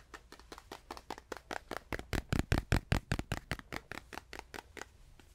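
A small stretched canvas panel is tapped with a steady run of about 25 short, dry taps, each a dull low thump with a light, bright click. The taps grow louder and fuller toward the middle, then fade softer again, as if moving up close and then farther away.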